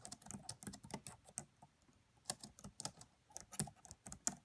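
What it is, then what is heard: Plastic laptop keyboard being typed on. Fingertips with long French-manicured nails from both hands tap the black plastic chiclet keys of a red laptop with a hollow body, producing about eighteen quick, bright clicks with a soft low thud beneath. The clicks come in bursts, with a short pause in the middle before typing resumes, and each tap dies away almost instantly.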